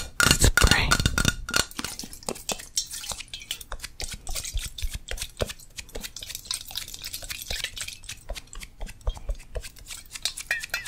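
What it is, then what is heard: Metal aerosol spray can. Long nails tap rapidly on the metal body of a yellow Crisco aerosol cooking spray can with a plastic cap. A louder, denser burst of clicks in the first second and a half gives way to quieter, uneven tapping with short, dull metallic clinks.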